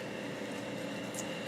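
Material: Nothing is struck.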